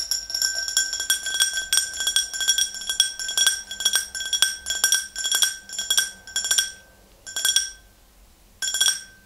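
Long green nails tap both sides of an empty, tall, clear glass tumbler in quick flurries of bright, ringing clinks, with a clear tone near 3.3 kHz and sparkling overtones above. The tapping runs in rhythmic bursts that thin out toward the end, leaving brief quiet gaps before a final short flurry.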